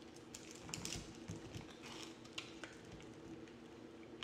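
A yellow-handled box cutter blade scrapes and carves flakes from a hand-sized, pale green bar of soap with a blue rim, held in the palm. Soft, dry scratching runs throughout, broken by brief, bright, crisp ticks as the blade catches and cuts. A faint, steady low hum sits underneath the quiet scraping.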